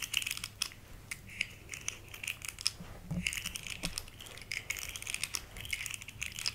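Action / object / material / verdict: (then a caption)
scrape / segmented plastic fidget slug toy / plastic / none. Long fingernails scratch and tap across the ridged segments of a small, rainbow-colored, hollow, segmented plastic fidget slug held in one hand. The result is a steady stream of dry, crisp clicks and scratchy crackling, mostly bright and high with very little low end. Each tap cuts off almost instantly.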